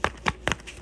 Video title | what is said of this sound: Starbucks Reserve Passport TN, Banana Stickers, and New Releases | it sounds to me it sounds like plastic it doesn't feel like it's made out of fabric